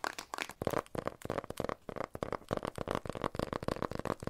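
Fingertips and nails tap and scratch a small rectangular printed cardboard box, white and blue with a barcode label, which looks empty and hollow and is held in both hands. A quick run of dry, hollow taps with a mid-pitched tone mixes with light scratching. Each tap dies away almost instantly.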